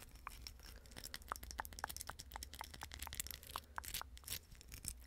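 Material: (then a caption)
Plastic. A small hollow napkin ring made of silver plastic rhinestone mesh is held in the fingers and rapidly scratched and tapped with long pink acrylic nails. The result is a quick, irregular run of sharp, dry clicks with bright, gritty scratching and crinkly texture between them, over a faint low hum.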